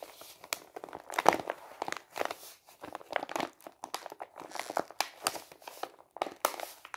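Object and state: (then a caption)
Kraft paper envelope being crinkled. A medium-sized, hollow, empty brown kraft paper envelope is held in the hand and squeezed, crinkled and flexed with the fingers. It makes dense, dry crinkling and sharp crackles in quick irregular bursts, mostly midrange with bright edges. Each crackle cuts off at once with no ring.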